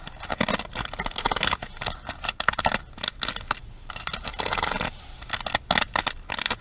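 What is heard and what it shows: Long nails rapidly tap and strum across the bristle pins of a pink plastic paddle hairbrush held upright. The result is a dense run of crisp, bright clicks and scratchy rattling strums with almost no ring, mostly in the high range with little low end.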